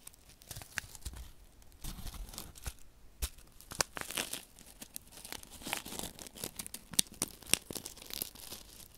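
Fingertips rub and crinkle a small, flat paper desiccant sachet filled with silica beads close to the microphone. The result is a dry, bright, papery rustle with a tearing quality, broken by sharp crackles and short clicks from the beads shifting inside.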